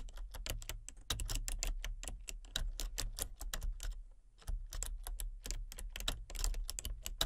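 Fingertips with painted nails type rapidly on a full-size plastic computer keyboard with a colour-changing backlight. They produce a dense run of sharp, bright clicks over a steady low hum, with a brief pause in the middle before the tapping resumes.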